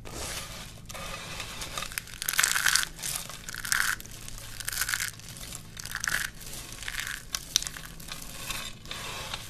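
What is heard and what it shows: A curl of thin, brittle green dry soap shavings is crushed between the fingers, then both hands squeeze and crush handfuls from a pile of the flakes. Dense, bright crackling crunches come in repeated bursts over a faint low hum.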